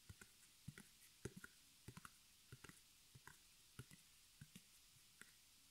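Long nails tap and scratch the front of a small white embroidered canvas stretched over a hollow wooden frame, held in the hands. The quiet, irregular taps each pair a dull low thump with a bright click and die away at once, with faint scratching between them.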